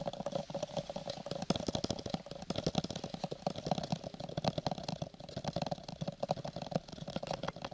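A small, hollow, lilac textured cardboard gift box is held in both hands close to the mic and tapped and scratched with fingertips and nails. Quick, irregular dry taps mix with papery scratching, giving a soft hollow low thump and a light midrange tone. Each tap dies away almost at once.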